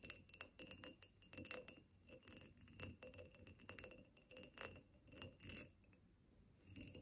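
Long nails tap and scratch the ridges of a tall ribbed glass vase held on a table. Quick, bright glassy clicks and chinks mix with soft scraping over the ribbed surface. Each tap dies away almost at once.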